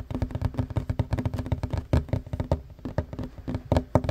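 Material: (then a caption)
Wood. Fingertips and short nails of one hand, then both hands, tap fast on the edge of a solid wooden tabletop. The result is a rapid, uneven run of dull, low knocks with a hollow resonance around 100 Hz. Each tap dies almost instantly, with nearly no bright content.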